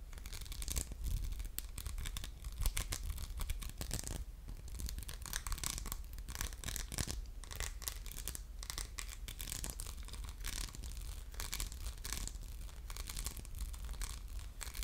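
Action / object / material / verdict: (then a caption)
scrape / faceted glass soap dispenser / glass / none. A hollow orange faceted glass soap dispenser with a diamond pattern and a metal pump is held in the hand while fingernails scratch across its textured surface and tap on it. The result is a continuous, dense, bright rasping scratch dotted with quick clicks, over a steady low hum.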